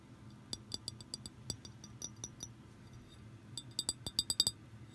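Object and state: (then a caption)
Empty glass bottle. Long green nails tap on the neck and body of an empty, hollow, clear glass liquor bottle with a threaded neck and a blue label. Quiet, bright, glassy clinks come in an irregular series, each dying away almost at once. After a short pause, a quicker, louder cluster of taps closes the clip.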